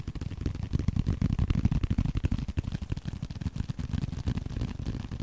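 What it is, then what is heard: Leather card wallet. Fingernails and fingertips scratch and tap on a small, flat, blue leather card holder. The result is a quick, uneven stream of soft, dull taps with very short decay, heavy in low thumping tones and carrying almost no high end, overlaid with faint scratching.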